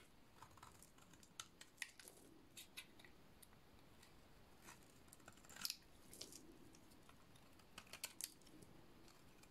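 A solid purple dry soap bar is shaved with a utility-knife blade, producing quiet, dry scraping and cutting sounds. Short, crisp, bright clicks and crackles sit over a low, steady hiss, with a few louder cuts standing out.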